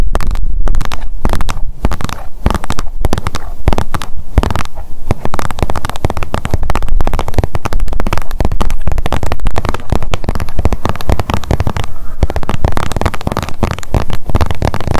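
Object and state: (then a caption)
Plastic sunscreen tube. Long nails tap fast on a blue plastic sunscreen tube held up in the air, making a dense, continuous stream of quick, dull, bassy clicks. The taps run together with no gaps and stay at a steady loud level throughout.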